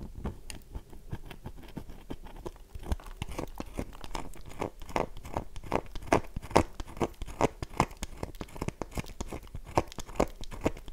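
Long nails scratch across the face of a solid, oval, dry bar of soap held in one hand, dropping crumbs. The result is a fast, irregular run of short, dry, crunchy scrapes with no ring, mostly low-to-mid in tone. The strokes grow slightly louder and more pronounced in the second half.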